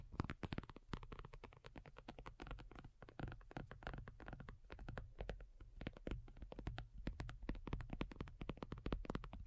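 Long nails from both hands tap rapidly across a black folding faux leather iPad cover lying flat, thin and hollow-backed. The quiet, dense taps are short, dry clicks with a hollow, low thud beneath them, with no ring.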